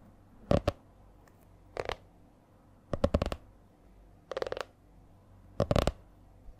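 Long nails tap and lightly scratch the stiff laminated cover of a purple A4-size spiral notebook held upright. Short, dry clusters of crisp clicks and scratchy taps arrive at an uneven, changing rhythm, with quiet pauses between them. Each sound dies away almost instantly.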